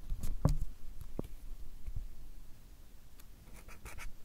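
A marker pen tip scratches and strokes across a stack of white paper cards held upright while drawing. Soft, irregular scratching strokes are heard, with a few short dull taps early on and faint brighter swishes toward the end, all at a low, quiet level.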